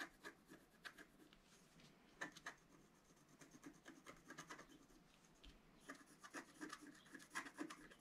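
A wooden stylus scrapes across a thin, flat coated scratch-art sheet lying on a table while the other hand holds the sheet steady. Quiet, dry rasping strokes repeat throughout, with a bright, papery scratch that briefly grows sharper and louder in a few bursts.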